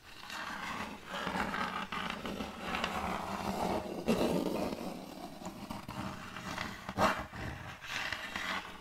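Long colored fake nails tap and scratch across the face of a large round board of checkered end-grain wood held upright. A steady, dry rasping texture with scattered taps runs throughout, with louder scraping bursts around four and seven seconds.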